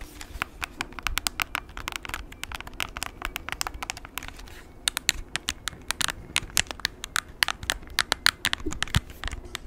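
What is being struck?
Plastic graphing calculator.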